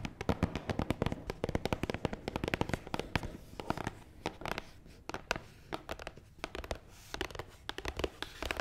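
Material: Cardboard.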